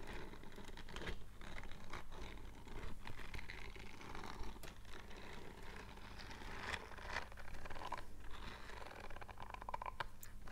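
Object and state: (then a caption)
Silicone scrubbing glove. Bare fingertips scratch and stroke the dense bristles on the palm and fingers of a purple silicone scrubbing glove. The result is a steady, quiet run of soft, crackly scratching and rubbing over a low, constant hum, with brief brighter scrapes now and then.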